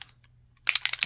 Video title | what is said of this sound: Mixed Media, Envelope Flip page in the Gothic Poe Journal @myporchprints-junkjournals | you hear that little metal ball in there going to town